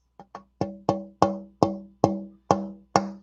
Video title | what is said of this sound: Sunday Night Live! (Weird Chips, New Vinyl, & A Bag of Rocks!) | it's got that sort of glassy uh resonance to it when you tap it not a dull thud